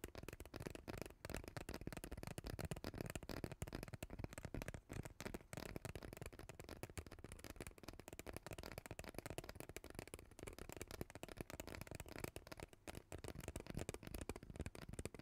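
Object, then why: Ribbed plastic pop tube. Long teal nails scratch and tap the ridges of a hollow purple ribbed plastic pop tube, about 20 cm long, held in both hands over the mic. The result is a dense, continuous stream of quick, dry clicks and crackly scrapes, close and heavy in the low end, each tick dying almost instantly.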